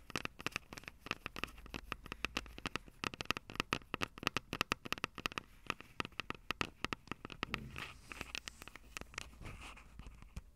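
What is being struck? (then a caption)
Plastic and metal handheld audio recorder. Long acrylic nails tap and scratch the metal mic grilles over the capsules of a Tascam DR-05 handheld audio recorder with a plastic body. A dense run of sharp, dry clicks with no ring carries bright, tonal bands around 1.25 and 2.5 kHz. Toward the end the taps thin out and give way to softer, hissy scratching.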